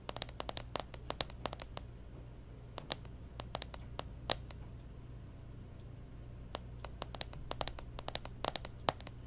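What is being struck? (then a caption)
Plastic handheld game console lid. Long nails tap and scratch the plastic lid of a closed pink Nintendo 3DS XL with stickers as it rests on a table. Quick, sharp, bright clicks and scratchy ticks come in clustered bursts, with a quieter stretch in the middle, over a steady low hum.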